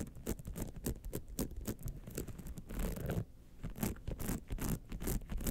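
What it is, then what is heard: Rhinestone-studded clutch wallet. Long nails scratch and tap near the jeweled clasp and lower edge of a gold rhinestone-studded clutch wallet. A rapid, uneven run of short, dry scratches and taps flashes bright over a low rumbling base, with a brief quieter pause just past three seconds before the scratching picks up again.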